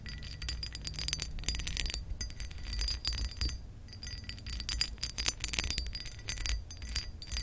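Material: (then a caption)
Glass. Acrylic nail tips tap and scratch across the textured surface of a pressed glass lamp base. The result is a dense run of quick, bright, chime-like glassy clicks and scrapes over a steady low rumble, with each tap dying away almost instantly.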